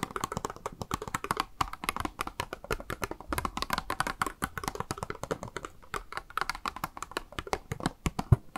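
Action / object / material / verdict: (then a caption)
tap / small plastic blister box holding a makeup sponge / plastic / none. Long nails tap rapidly on a small, hollow, clear pink plastic cube blister package with a makeup sponge inside, held in the hand. The result is a steady stream of quick, dry, clicky taps with no ring, centered in the mid range with a soft low thump under some hits.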